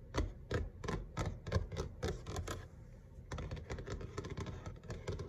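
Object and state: Laminate kitchen countertop.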